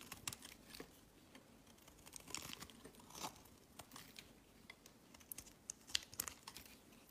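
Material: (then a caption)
Soap. A metal box-cutter blade shaves and scrapes a solid rectangular bar of pink soap held in the hand, dropping curls onto a woven mat. Quiet, crisp, bright scraping and crinkling strokes come in a steady series of short, sharp bursts with almost no ring and little low end.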